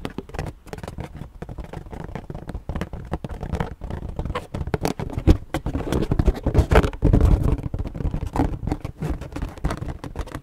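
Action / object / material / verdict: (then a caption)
scrape / inflated latex balloon / latex / none. A purple inflated latex balloon, hollow and air-filled, is held in both hands while long nails tap and scratch its surface. Dense, irregular, muffled low taps mix with soft rubbery scratching, each tap dying away almost instantly.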